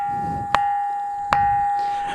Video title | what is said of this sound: గండి రామన్న క్షేత్రంలో స్వరాలు పలికించే రాళ్లు - Musical Stones In Gandi Ramanna Temple,Nirmal | మనం వేరే రాయిని కొట్టినప్పుడు మనకు ఏ రకమైనటువంటి శబ్దం రాదు. ఈ రాయి యొక్క ప్రత్యేకతనే అది.